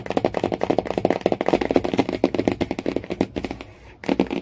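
Fingernails tap rapidly on the laminated cardboard cover of a hardcover Jungle Book, making a quick run of dry, hollow clicks centered in the low mids around 350 Hz. The tapping briefly gives way to a faint scratchy hiss before a final burst of taps.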